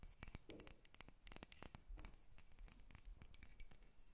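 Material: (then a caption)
Wood. Long red nails scratch and tap the surface and underside of a solid carved wooden dolphin figurine held in the hands. Dense, quick clicks and light scratches with a dull, low body and bright ticks, each stopping almost at once.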